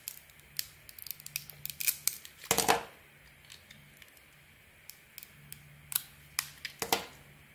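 A small solid white soap bar with a gold leopard-print painted coating is held in the hand and cut and scraped with a metal blade. It makes a series of short, crisp, bright scraping and cutting crackles with quick decays, including a louder rasping scrape in the middle and another near the end. A faint low hum sits underneath.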